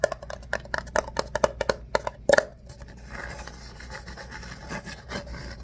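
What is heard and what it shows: An empty ribbed paper coffee cup is held upside down while fingertips scratch and rub its corrugated sides. A quick run of sharp, dry scratches with a papery ring around 590 Hz comes first, then fades into a softer, continuous rubbing hiss.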